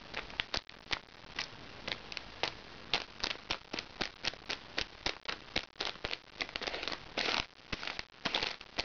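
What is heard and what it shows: Fingernails scratch and pinch the surface of a small, crinkly recycled plastic makeup bag held upright. The result is a steady run of sharp, bright crinkles and crackles in quick, irregular bursts, with a soft rustle between them and almost no low end.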